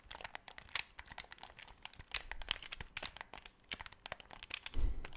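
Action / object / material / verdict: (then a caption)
tap / plastic game controller buttons and sticks / plastic / none. A black, hollow plastic Xbox 360 controller with colored buttons has its buttons and sticks clicked rapidly by fingertips close to the microphone. The result is a dense run of sharp, bright plastic clicks and crinkly taps that stop quickly. Near the end there is a louder, low rumbling handling sound.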